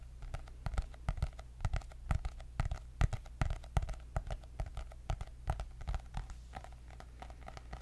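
Long nails and fingertips tap rapidly and irregularly on the cardboard cover of a white hardcover paper notebook with gold dots, giving short, dry clicks with no ring. A steady low hum runs underneath throughout the clip.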